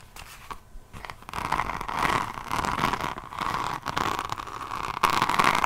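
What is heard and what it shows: Long nails scratch a diamond painting notebook with a resin rhinestone cover, first across the beaded cover, then along the spine and page edge. The result is a dense, gritty, crackling scratch centred in the midrange with a bright edge, growing louder and rougher toward the end.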